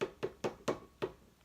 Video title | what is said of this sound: Episode 5 - Sock Diary | this has to be really hard I'm actually going to tap it on the table so you can hear how hard it is